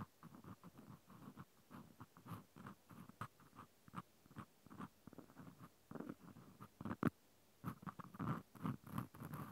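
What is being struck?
Plastic clothespin with metal spring.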